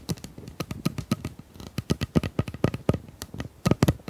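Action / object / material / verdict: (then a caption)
tap / ribbed plastic pop tube / plastic / none. A hollow, ribbed pink plastic pop tube is held in both hands while long nails scratch and tap along its corrugations. About two dozen quick, dry taps follow one another in an uneven rhythm, each a hollow low thump with a bright click on top and almost no ring. Faint scratching fills the gaps between them.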